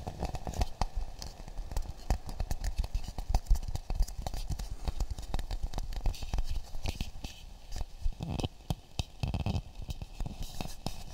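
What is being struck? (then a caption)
Half coconut shell. A hollow, empty half coconut shell with a brown polished shell is held and tapped with fingertips close to the microphones. It produces a rapid, uneven stream of soft, dull taps and light scratchy patter, mostly low and muffled with almost no ring after each touch.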